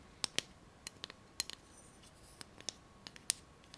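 A long, flat, solid aluminum ruler with a printed scale, about 20–30 cm, is held in both hands while long painted nails rub and scratch along its surface. About thirteen sharp, bright ticks and scratches are heard, irregularly spaced over a quiet background, each dying away almost instantly with no ring.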